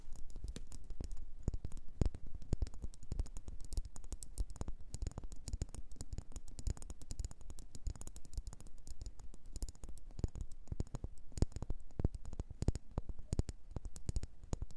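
Long nails rapidly tap and scratch a solid red faceted wax pillar candle. The result is a steady, dense stream of short, dull taps with very brief decay and mostly low, soft body, scattered with faint bright clicks from the nails.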